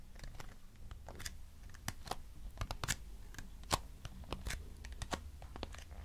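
Long nails tap and scratch a small, hollow lavender-grey cardboard box. Quick, dry clicks and scuffs come in an irregular stream, with a few brighter, sharper taps standing out. Each one dies away almost at once over a low, steady rumble.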